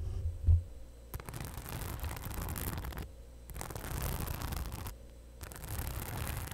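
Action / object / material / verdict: scrape / fabric and faux-leather crossbody bag with rhinestone-covered pocket / rhinestones / none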